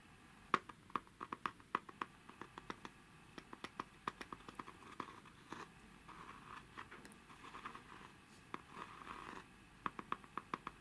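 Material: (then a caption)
Birch bark. Short fingertips and nails tap and scratch across the carved lid and rim of a small, hollow, round lidded box of light carved birch bark or wood with a deep relief floral pattern, held in both hands over a tablecloth. Quick, dry, sharp clicks with a faint woody tone around 1.1 kHz come in clusters, with a stretch of continuous raspy scratching in the middle. The sound is quiet and close, with almost no ring after each tap.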